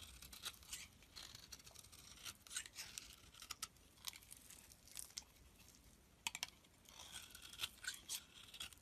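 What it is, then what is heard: Bar of soap being shaved. A snap-off utility blade shaves curls off the edge of a solid pink soap bar held in the palm. A series of quiet, crisp, bright scraping strokes follow one another with short gaps, each with a dry, papery tearing texture and almost no low end.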